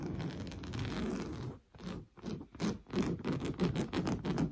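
Fingernails scratch back and forth across a large padded sofa cushion covered in orange coarse-weave fabric. A steady, dry rasping scrape runs for about a second and a half, pauses briefly, then breaks into quick, uneven strokes. The strokes have a low-mid, zipper-like grain and stop dead after each pass.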